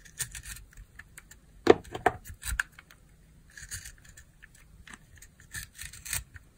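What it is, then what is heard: Glycerin soap bar carved with a blade. A metal utility-knife blade carves and scrapes thin shavings from a round, translucent pink, palm-sized bar of dry glycerin soap with a loofah sponge embedded in it, held in one hand with long nails. The result is a series of soft, irregular, crisp crunching and scraping strokes with bright, papery edges. The strongest cuts come about a third of the way through, with quieter scratches between them.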